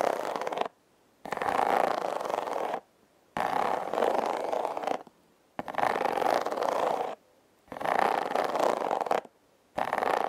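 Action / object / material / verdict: scrape / corrugated cardboard box / cardboard / none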